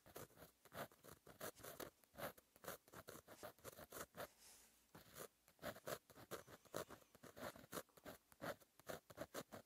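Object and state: Pen writing on a paper notebook page.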